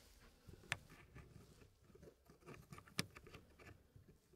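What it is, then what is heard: Wooden puzzle pieces on a tray. Fingertips push and slide solid wooden pieces along the edges of a small hardwood Elegance wood puzzle tray, making quiet, soft rubbing and scraping with light wooden taps throughout. Two sharper, brighter clicks stand out clearly above the low rustle.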